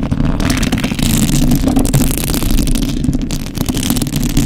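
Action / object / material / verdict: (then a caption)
scrape / metal mesh microphone grille / metal mesh / none. Fingertips and thumbs rub a hollow metal mesh microphone grille while long acrylic nails scratch across it. The result is a steady, dense, rumbling scrape, heavy in the low end with a faint, brushy, bright texture on top and brief swells as the strokes change.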